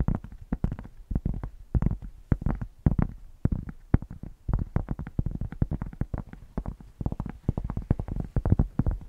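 A thick, solid cork square held close in front of a microphone is scratched with long painted nails and fingertips. The result is a dense run of short, dry, bassy scratching strokes and thumps, mostly deep and low with little high-end brightness, with no ring after each stroke.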